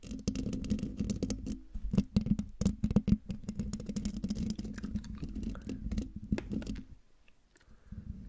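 Long dark fingernails scratch and tap rapidly on the hollow metal mesh grille of a silver microphone, making dense, close-up scraping and ticking with a steady low tone underneath. The strokes fall almost silent around seven seconds, then faint scratching picks up again at the end.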